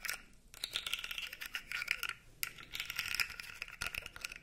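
A blue segmented plastic fidget toy is held upright while its segments are flexed and scratched with fingernails. The result is a dense run of bright, dry scratching and rapid clicking rattles with almost no low end, broken by brief pauses near half a second and again before the two-and-a-half-second mark.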